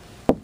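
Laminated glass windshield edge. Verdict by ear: Stressed.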